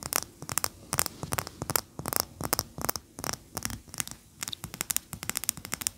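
A large cream solid wax pillar candle standing upright on a towel is scratched and tapped with the long natural fingernails of both hands. Quick, irregular bursts of bright, crisp clicks and short scratchy strokes follow one another closely, with almost no ring after each touch.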